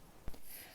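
A freshly applied acrylic nail enhancement is tapped once, giving a single short, dull click with very little ring. The sound shows the acrylic has set and hardened, ready for filing.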